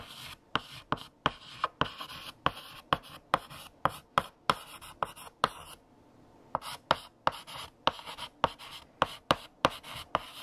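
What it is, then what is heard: Chalk writing on a chalkboard. A stick of blue chalk held in the fingertips scratches across a large, solid, flat black chalkboard with a painted surface while writing text. About 23 sharp taps and short bright scratching strokes are heard, each with a tone around 920 Hz and almost no ring. The writing pauses briefly a little before the six-second mark, then resumes.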